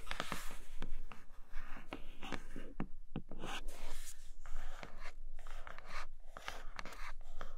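Long nails tap and scratch on a flat grey cardboard Nomad box with a clear plastic window over a leather case. Quick, dry taps mix with bright, rasping scratch strokes that stop short with almost no ring, over a faint low hum.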